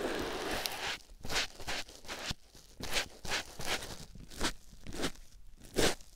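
A white foam sponge block, held in the fingers, is rubbed over a silicone ear microphone. It makes a series of close, scratchy crunching and rustling strokes with a bright, airy texture, separated by brief quiet pauses.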